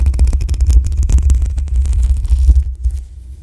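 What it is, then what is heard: Metal microphone mesh grille being scratched. Long acrylic nails scratch the black metal mesh grille on the hollow head of a desktop condenser microphone, producing a dense run of rapid scrapes and crackles with a heavy, booming low rumble and bright, scratchy top. Near the end the hands briefly hover and the scratching fades to a quieter, sparser rustle.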